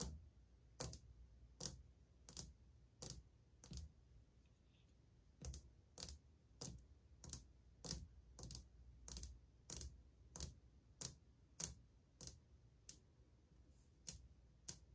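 Long painted fingernails tap at a slower pace on old glazed white ceramic subway tiles on a wall, a solid surface. Each tap is a short, sharp, bright click with a low knock beneath it and almost no ring. The taps fall in a steady, unhurried series, with a brief pause early on before they resume.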